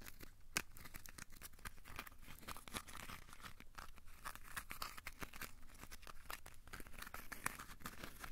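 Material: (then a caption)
Aluminium foil. A small, solid, crumpled ball of aluminium foil is squeezed and scratched with the fingertips. It makes quiet, continuous crinkling and crackling, a dense run of sharp, bright ticks with a few louder snaps, each dying away almost instantly.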